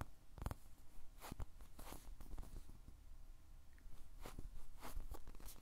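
A white-and-teal, animal-shaped squishy toy made of solid, soft polyurethane foam is held in one hand while the fingertips squeeze and tap it. Soft, dull, low thumps and muffled squishing come through, broken by brief, bright crackling clicks from the foam surface. The result is a close, quiet, textured patter with no ring after each touch.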